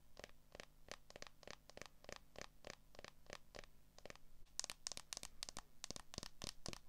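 Long nails tap and scratch the back of a smartphone in a clear plastic case, held solidly in both hands. A steady run of short, dry clicks with quick scratchy strokes plays over a low, constant hum. About halfway through, the taps turn brighter and sharper.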